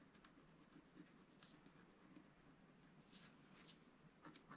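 A wooden stylus scratches lines into the coating of a flat black-coated scratch-art card. The result is a quiet, continuous scratching with brief, brighter strokes standing out over a low, steady hiss.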